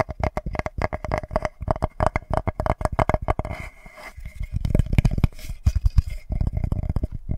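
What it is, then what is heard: Wooden board. Fingertips and nails tap and scratch the face of a flat, solid, light-wood board about the size of a notebook, held up close to the microphone. Quick, dry, low thuds come in dense bursts with almost no ring, easing into a softer scratching stretch midway before heavier taps return.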